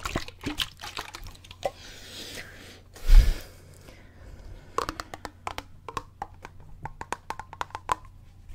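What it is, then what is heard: Plastic water bottle, partly filled. A clear plastic water bottle, partly filled with water, is tilted and shaken in the fingertips near the face. Scattered crisp clicks and soft liquid sloshes sit over a steady low hum, with one louder slosh just past three seconds. Then a run of sharp, bright ticks follows.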